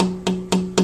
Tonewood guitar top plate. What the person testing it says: a good ring and that's what I'm listening for